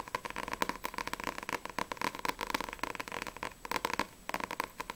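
Long nails tap rapidly on a single Blue Exorcist volume 2 paperback manga with a glossy card cover and solid paper pages, first on the front cover and then on the back. The taps are quick, dry and clicky, centered around 1 kHz with bright crackly edges, dying away almost instantly. A brief pause comes before the tapping resumes.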